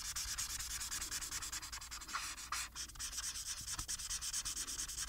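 A felt-tipped plastic marker rubs back and forth across a thin printed paper sheet lying flat, coloring in the blue background with rapid, repeated strokes. Each stroke gives a dry, bright, hissy scratch with almost no low end, and the strokes run in a steady rhythm with a brief pause midway.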